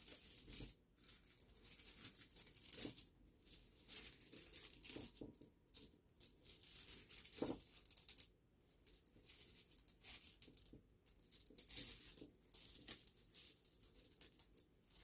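Fingertips of both hands rub, stir and shuffle a pile of small, smooth, solid polished river pebbles resting on black cloth, knocking the stones against each other. The result is a bright, dense clicking and rattling that comes in uneven bursts with brief quiet gaps between them.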